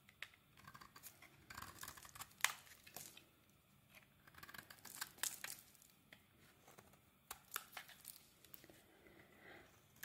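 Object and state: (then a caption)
Glycerin soap bar being scraped. A utility blade scrapes flaky shavings off a solid translucent glycerin soap bar held in the hand. Quiet, crisp scraping and crackling strokes come in irregular bursts with bright, sharp edges and little low end, separated by brief near-silent pauses.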